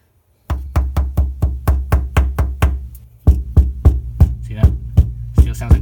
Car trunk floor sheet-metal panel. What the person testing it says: still sounds like a drum